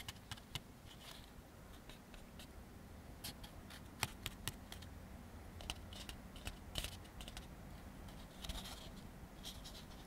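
An empty white molded-fiber paper plate, held in both hands, is tapped and scratched on its inside with fingertips and nails. Quiet, dry clicks and soft scratchy rustles come in irregular bursts, with sharp bright ticks over a low, steady background hum. Each tap dies away almost instantly.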